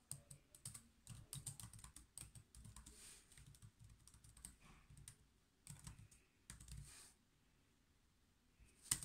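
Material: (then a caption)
Plastic. Fingertips type on the black plastic keys of a silver laptop, producing quick bursts of soft, bright clicks over a low, muffled thump. The typing comes in uneven runs with short pauses, falls quiet for about two seconds near the end, then closes with one sharper, louder click.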